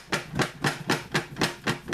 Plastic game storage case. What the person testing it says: hearing a lot of movement around in there